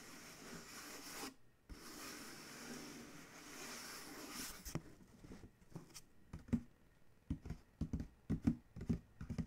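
Fingertips tap and scratch the side panel of a large, hollow Chewy corrugated cardboard shipping box, and a hand rubs across it. A steady, bright scratchy rustle fills the first half, briefly cut by a short pause. It gives way to a quieter stretch of sharp, dull, hollow taps that thud with little ring.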